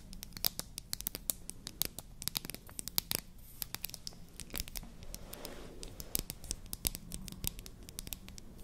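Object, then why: Painted wooden toy lipstick tube. A slim, finger-length, solid pink painted wooden toy lipstick or mascara tube is held upright and tapped and scratched with long nails. Many sharp, bright clicks come in rapid irregular bursts. Around the middle, a softer scratchy rustle sits under a low, steady hum.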